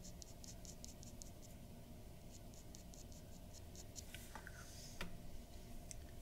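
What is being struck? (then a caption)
Paper drawing sheet with a dip pen nib. A glass dip pen nib scratches quick hatching strokes near the mouth of a drawing on a white paper sheet resting on a wooden desk. Soft, bright, rhythmic scratches repeat over a low, steady background hum, with a slightly sharper tick near the end.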